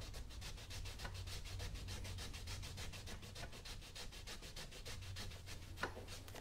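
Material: Leather.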